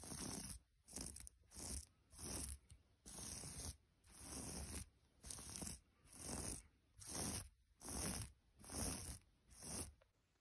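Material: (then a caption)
Knitted yarn. Long almond-shaped nails and fingertips scratch and rub a large, soft, flat piece of striped yellow, white and grey knitted fabric, such as a blanket or sweater. Fourteen scratchy, rustling strokes come at a loose rhythm of roughly one per second, each with a bright hiss over a soft low rumble. Brief quiet gaps separate the strokes.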